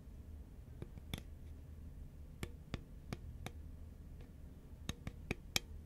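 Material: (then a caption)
Paperboard. Long fingernails tap rapidly on the label side of a tall, hollow, cylindrical composite paperboard Pringles chip can held horizontally. Sharp, dry, bright clicks stand out, each dying away almost instantly, over a steady low rumble.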